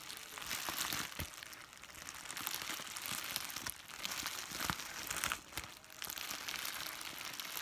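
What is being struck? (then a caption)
Plastic bubble wrap sheet. A thin, flexible, white translucent sheet of plastic bubble wrap is held in both hands and crumpled and squeezed with the fingers. The clip is a steady, bright crinkling and rustling, with sharp crackles standing out along the way.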